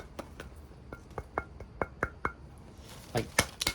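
A small, heavy cast-stone demonic Halloween figurine from a stonecraft maker is knocked on by hand, giving a series of short, sharp clicks and knocks with a faint high ring that dies almost instantly. The figurine is solid and nice and heavy, hard enough that knocking on it hurts the hand.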